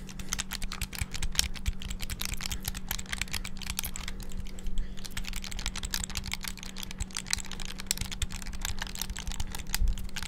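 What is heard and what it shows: Fingertips rapidly press the buttons of a small black hollow plastic clamshell handheld game console, making a dense, continuous stream of sharp, bright plastic clicks and taps. A steady low hum runs underneath throughout.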